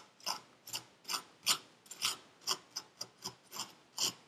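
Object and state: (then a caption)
Kinetic sand scraped in a paper cup. A gloved hand scrapes packed purple kinetic sand in a paper cup with a metal pick that has a wooden handle. Twelve short, bright, crunchy scrapes are heard, separated by brief quiet gaps, each fading almost at once with no low rumble.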